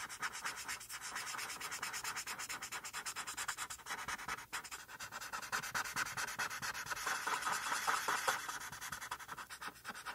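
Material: Paper.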